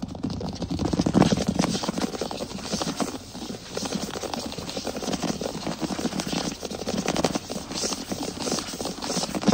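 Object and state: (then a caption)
Wooden plank floor. Fingertips tap and scratch fast across a large solid wood plank floor, with the hands sometimes close to the camera. A dense, continuous patter of short, dry knocks blends with rough scraping, full in the low-mids with a bright, crackly edge. The level surges and dips throughout without a pause.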